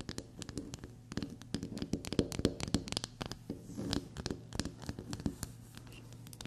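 Long black-polished natural nails rapidly scratch and tap the surface of a small, solid, flower-shaped black soap bar held on a table. The result is a quiet, close stream of dry scratches mixed with sharp, bright little taps. A faint steady low hum runs underneath.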